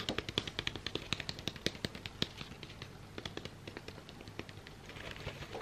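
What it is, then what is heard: Cardboard incense box. A long, thin, hollow cardboard box of Stamford Californian White Sage incense sticks is held in the hands and tapped and handled with fingertips and nails. The result is a rapid series of short, dry, crisp clicks and taps with a bright edge around 3.4 kHz. The taps are louder and more distinct in the first couple of seconds, then turn into softer, denser scratchy handling over a faint low background hum.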